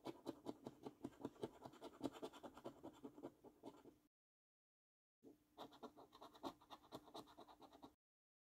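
A coin edge scrapes the silver scratch-off coating from a thin, flat paper £15 Luxury Lines National Lottery scratch card, held down by one hand on a dark table. Quick, rhythmic short strokes give dry, gritty rasps with a low-mid body around 280 Hz, in two bursts separated by a brief silent pause.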